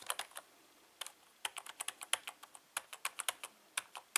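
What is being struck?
Plastic membrane computer keyboard.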